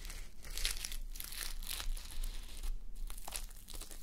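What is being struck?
Fabric sleep mask with plastic sequins.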